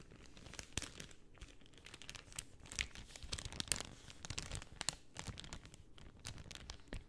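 A pink cellophane sheet held flat on a lap is rubbed and scratched with long nails and crinkled. It makes quiet, continuous crinkling with many sharp, bright crackles scattered throughout.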